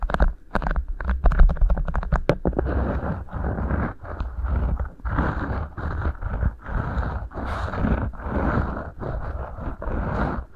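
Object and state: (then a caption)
Beeswax food wrap crinkled. Two rolled beeswax-coated cotton food wraps sit over the microphone capsules while fingertips pinch and crinkle them. Sharp, crisp crackles open the clip, then give way to dense, rhythmic rustling bursts with short pauses between them. A heavy low thump sits under the whole sound.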